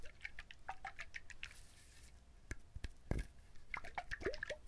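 Fingernails scratch and tap the shell of a whole brown husked coconut. Quick, dry clicks and faint scratching patter across the clip, with a few duller, deeper knocks in between. Every tap dies away almost instantly, leaving no ring.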